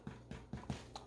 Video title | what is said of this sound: Glo's No-Knead Bread Recipe | But can you hear that? That's the hollow sound?